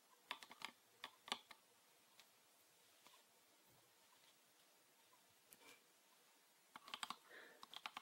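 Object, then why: Plastic bottle filled with liquid. Fingernails tap a green PET plastic bottle with a red cap, full of liquid, making short, bright, dry clicks that die away almost instantly. The taps come in quick clusters at the start and end, with only a few scattered taps in the quiet middle.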